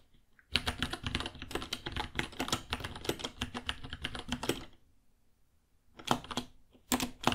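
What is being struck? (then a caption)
Plastic mechanical keyboard. A white 66-key mechanical keyboard, about 30 cm, with plastic keycaps and a hollow case, is typed on with fingertips. Rapid clacky keystrokes run for about four seconds, pause, then return in two short bursts.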